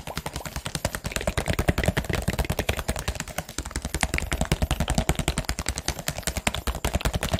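A hollow, clear plastic drinking-water bottle with a teal label and cap, fill level unclear, is held in the hands and tapped and squeezed with the fingers. The result is a fast, irregular run of short, dry, hollow taps with a deep, thumpy low body and crackly plastic clicks on top, each one dying away almost instantly.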